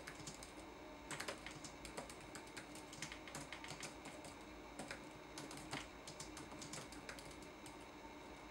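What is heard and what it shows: Fingertips type quickly on a red-backlit laptop keyboard with plastic keycaps, producing dense, light clicking taps. The bright, crisp key clicks come in irregular bursts over a steady, faint background hiss.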